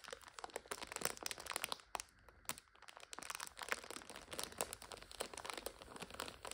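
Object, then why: Instant noodle multipack in plastic overwrap. Long nails scratch and squeeze a full instant noodle multipack in its plastic overwrap, making it crinkle. Dense, bright crackling comes in rapid bursts, with a brief quieter lull around the two-second mark before the crinkling picks back up.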